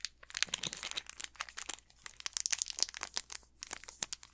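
An unopened Snickers candy bar in its plastic wrapper is turned in the hands while fingertips crinkle and squeeze the wrapper. The result is a dense run of sharp, bright crackles and crinkles with almost no low end, each snap dying away instantly.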